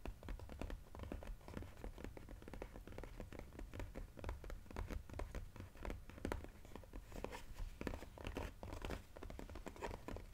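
A glossy cardboard jigsaw puzzle box is held on its side while fingernails rapidly tap and scratch its narrow side panel. The result is a quiet, steady stream of dry, dull taps and scratchy brushes with no ringing.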